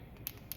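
A cleaned and reassembled small-engine carburetor is shaken so the float inside rattles freely, showing it moves normally. A few quiet, sharp clicks with a high hiss stand out over a low background hum.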